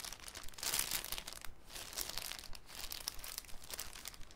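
A thin, clear cellophane sheet is handled with the fingertips, crinkled and folded into a cone. It makes a dense, uneven run of soft, bright crinkles and crackles with brief swells, at a quiet level.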